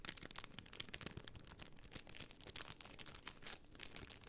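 A rectangular sheet of white plastic half-pearl stickers in a clear plastic bag is held flat in both hands and scratched and crinkled with long painted nails. The result is a quiet, steady stream of bright, crisp plastic crinkling and scratching, with many sharp little ticks that stop dead with no ring.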